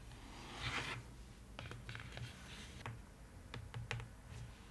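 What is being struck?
Paper-lined cardboard box.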